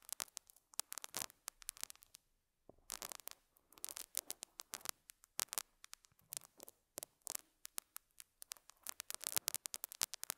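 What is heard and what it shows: A metal dental scaler hook scratches and picks at a small square beige felt pad on a lapel mic. It makes quiet, bright, crackly scrapes in rapid, uneven bursts, with a brief pause near the two-second mark. The dry scratching has no ring and almost no low end.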